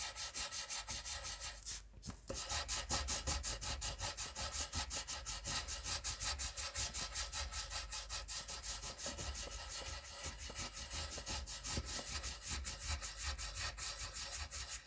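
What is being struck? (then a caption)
Wooden colored pencil on a paper sheet. A green wooden colored pencil scratches and rubs across a white paper coloring sheet in quick strokes, filling in a letter. A steady run of dry, bright, scratchy rasps continues throughout, with a brief break near the two-second mark.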